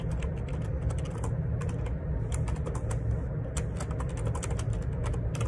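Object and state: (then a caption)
Plastic computer keyboard being typed on. Fingertips type steadily on the plastic keycaps of a black Perixx Periboard 612 wireless Bluetooth dual ergonomic split keyboard resting on a grey desk. A continuous run of quick, bright clicks and taps sits over a steady low background hum.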